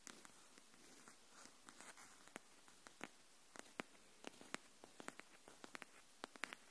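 Long nails tap the edge of a pink hardcover paper notebook held edge-up, giving an irregular series of about twenty quick, dry clicks. The clicks are sharp and bright with almost no ring, separated by soft, quiet taps and a faint hiss.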